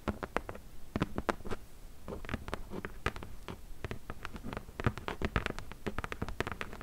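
Long fingernails tap the top edge of a closed, hollow corrugated cardboard box, then switch to fast multi-finger nail tapping across its top. Each tap is a short, dry click with a low hollow thump that dies away almost at once, and the taps come quickly and unevenly throughout.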